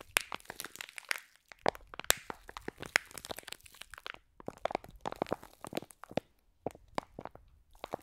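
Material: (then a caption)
Plastic, foam. A hand-sized, flat, clear plastic slime pack filled with small green foam beads, soft and full, is squeezed and scratched with long nails close to the mics. Rapid, crisp crunching and crinkling crackles come in dense bursts with brief pauses, bright and dry with almost no low end.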